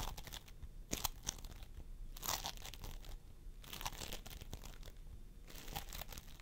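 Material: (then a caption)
Polystyrene beads. Fingertips of both hands press and squish a pastel mound of floam sculpting foam made of polystyrene beads, resting on a wooden table. Dense, crackling crunches and sticky tearing pops come in bursts with bright, high-frequency crackle, separated by quieter stretches.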